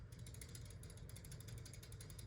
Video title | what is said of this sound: My Collection as of November 2022 | you can certainly hear the rattle